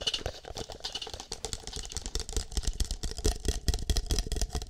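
An empty green plastic party cup with a shamrock print is cupped hollow over a microphone while fingertips and nails tap and scratch its outside. Rapid, irregular taps land as dull, hollow, low-heavy thumps that die away almost instantly, mixed with bright, crackly scratching that runs throughout.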